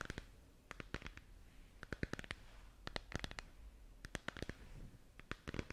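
Long nails tap and scratch the curved surface of a hollow, lit plastic moon lamp sphere held in both hands. Bursts of sharp, bright clicky taps with almost no ring alternate with soft scratchy rustling. A quiet low rumble runs underneath throughout.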